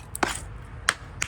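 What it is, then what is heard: Hollow, loose concrete patch on stair. A hammer and chisel strike a concrete patch laid over brick stairs, giving four short, sharp, hollow-sounding taps with a bright ring around 1.6 kHz that dies away almost instantly. The different sound shows the spot is hollow and loose, so it is ready to be chipped off.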